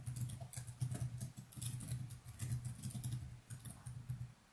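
Fast fingertip typing on the plastic keys of a laptop keyboard resting on a desk. The result is a dense, continuous run of soft clicks and muted thuds with a low, boomy body and small bright ticks on top. The mouse is not used.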